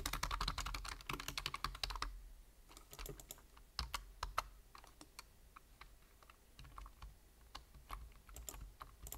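Fingertips of one hand tap rapidly on the hollow keys of a black plastic computer keyboard. A dense burst of quick, bright clacks fills the first two seconds, then slows into sparser, irregular clicks with short, dry attacks.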